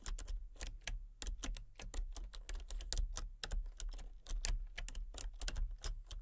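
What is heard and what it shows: Fingertips and long painted nails type rapidly on a full-size, backlit plastic RGB computer keyboard with hollow key switches and colour-cycling lights. Quick, bright, clicky key taps follow one another in a steady stream. Each tap dies away almost instantly over a low, constant hum.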